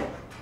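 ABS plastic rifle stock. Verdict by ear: Hollow.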